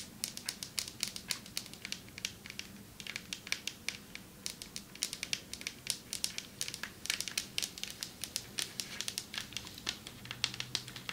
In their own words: Long nails tapping on marble table 6:33 - 10:18